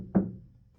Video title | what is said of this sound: 1955 chevy truck, Noico automotive sound deadener, Noico RED 315 mil | now it sounds like this. More of a thud